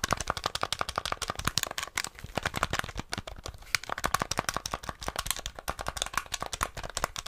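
A small, flat, hollow grey plastic NES game controller is held in the hands while fingertips quickly click its buttons and tap its shell. The result is a fast, steady stream of sharp, dry plastic clicks and taps, each very short with no ring, bright and papery in tone.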